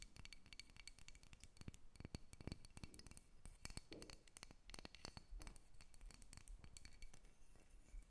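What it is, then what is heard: Carved wooden figure tapped and scratched with nails. Long nails rapidly scratch and tap a solid carved wooden dolphin, first as it rests on a table and then as it is lifted close to the recorder. The result is a quiet, dense stream of sharp, dry clicks and scratchy rasps with no ringing.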